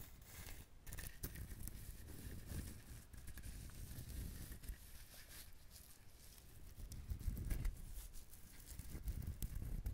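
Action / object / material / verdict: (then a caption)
tap / whole coconut with fibrous husk / coconut husk / none. Fingertips tap and scratch the husk of a whole, dried, brown fibrous coconut. Soft, hollow, clip-clop-like taps mix with a dry crinkly scratching, with most of the sound low and dull and only faint high rustle. The taps are short and quiet, with little ring, and run steadily throughout.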